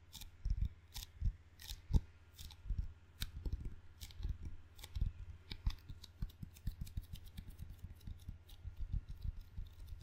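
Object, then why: Wooden table tennis paddle with rubber face. A wooden ping pong paddle with a black rubber face is held in both hands while fingertips tap and peel on its sticky rubber. The result is a steady run of soft, low thumps with crisp, bright sticky clicks and crackles as the fingers pull away from the surface.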